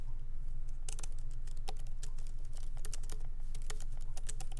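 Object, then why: Laptop keyboard, plastic keys. Both hands type continuously with their fingertips on a MacBook Pro keyboard, whose low-profile plastic keys sit in a solid aluminum body. The result is a quick, irregular stream of short, bright clicks and taps with no ring, over a steady low hum.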